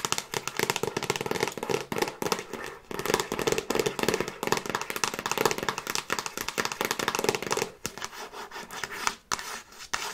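Long nails tap and scratch rapidly on the front cover of a hollow plastic Frasier DVD box set case held close to the mic. The result is a dense stream of short, dry clicks and scrapes with a hollow midrange body around 450 Hz, little low end, and bright scratchy detail. The steady flurry briefly quiets near the 8- and 9-second marks.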